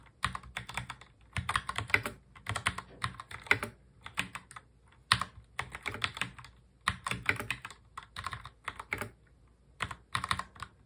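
Both hands type fast on a full-size black mechanical keyboard with plastic keycaps, fingertips tapping the keys. Rapid, bright, clicky keystrokes come in dense bursts separated by brief pauses, each click dying away almost instantly.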